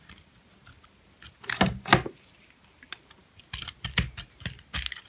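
A metal blade shaves and scrapes a purple, hand-sized, solid, dry bar of hard soap with a bubble pattern, held in the palm, leaving flakes on top. Short, crisp scraping strokes come in irregular bursts. There are two louder, longer scrapes near the second mark, then a quicker run of bright, dry cuts toward the end.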